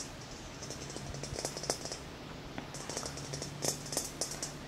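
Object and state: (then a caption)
Glass plasma ball, tapped. Fingertips and short nails of both hands tap quickly on a large, hollow, clear glass plasma ball. The result is a rapid, uneven run of bright, clicky glass taps, each dying away almost at once, over a faint steady low hum.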